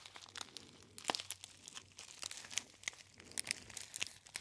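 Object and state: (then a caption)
Foil tea bag crinkling. A gold foil tea bag, a gold metallized foil pouch, is pinched and crinkled by fingertips close to the ear. It makes quiet, bright crinkles and sharp, dry crackles that come in irregular bursts, with almost no low end and no ring after each snap.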